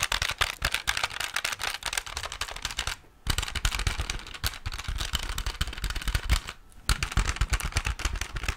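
Fingertips and nails rapidly tap the plastic keys and hollow plastic casing of a handheld pocket calculator with a display. The result is a dense stream of short, dry clicks and knocks with a low thump and bright edges. The tapping breaks off briefly twice before starting again.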